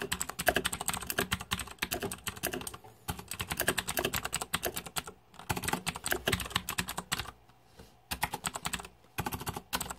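Fingertips type on a green-backlit Razer 2014 Deathadder mechanical keyboard with plastic keycaps. Rapid, bright, clicky keystrokes come in dense bursts separated by brief pauses. Each click is short and dry with almost no ring.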